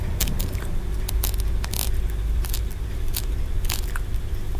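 Fingernails quickly scratch and tap the ridged tiers of a small, solid green aventurine stone pagoda. Brief, bright, dry clicks and scrapes come in quick irregular bursts over a steady low hum.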